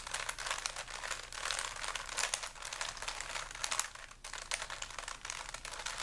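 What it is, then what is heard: Plastic Rubik's cube. A small solid plastic 3x3 Rubik's cube with stickers is held in both hands while fingertips turn its layers over and over. The result is a steady, dense stream of quiet, bright plastic-on-plastic clicks and crinkly rattles with almost no low end, and a brief lull just after the four-second mark.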